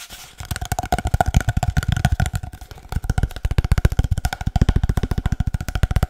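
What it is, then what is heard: Cardboard paper towel tube. A long, hollow, empty cardboard paper towel tube is tapped rhythmically with the fingertips, giving about 34 quick, dull, drum-like thumps. The taps are deep and short with almost no bright content, and a faint hollow tone rings through the pattern.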